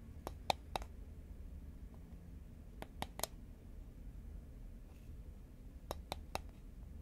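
Fingernails tap the side of a tall cylindrical composite paperboard Pringles chip can held horizontally in both hands. Nine short, dry clicks come in three quick groups of three, each dying away almost instantly with a bright edge over a low, steady background hum.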